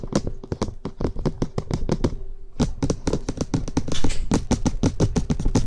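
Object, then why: Plastic microphone housing. Fingertips and short nails tap quickly and continuously on the top of the white, hollow, box-shaped plastic housing of an SR3D binaural microphone. The result is a rapid stream of short, dull, hollow-sounding knocks with a low body and almost no ring, broken by a brief gap near the middle.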